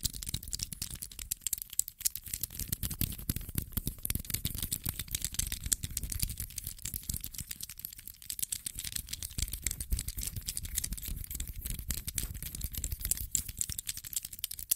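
A small dark grey metal infinity cube of solid hinged blocks is folded and unfolded by fingertips close to the mic. It makes a dense, continuous stream of sharp, dry clicks and light rattling, with bright high-end snap over a low thump from the handling.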